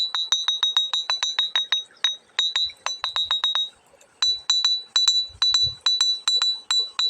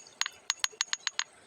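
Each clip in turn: First: ringing iron-bearing river stone. Second: ordinary flat stone, dull tap.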